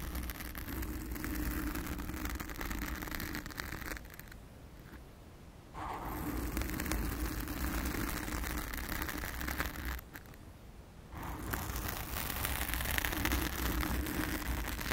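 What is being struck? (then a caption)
Foam microphone windscreen. Long acrylic nails of both hands scratch a blue foam cover on a round studio microphone, producing a dense, crackly rasp with strong low-end rumble and bright scratchy texture. The scratching runs steadily but drops to quieter, muffled stretches around 4–6 seconds and 10–11 seconds before resuming at full intensity.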